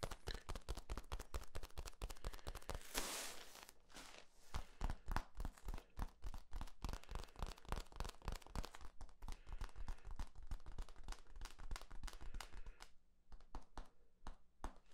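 Fingertips scratch and tap along the ridges of a long, hollow, yellow, ribbed corrugated plastic flexible tube held horizontally. The result is a rapid, uneven stream of short, dry clicks and scrapes with a low, hollow thump under each one, broken by a brief rough rasping burst near the three-second mark. The tapping becomes sparser and quieter near the end.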